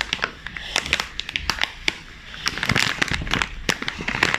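Black-gloved hands crumple and crinkle a sealed, full chips bag made of glossy plastic/foil film, then rub and press its front with their fingertips. A dense run of sharp, bright crackles and crinkles rises and falls, with a brief quieter stretch in the middle before the crackling grows busier again.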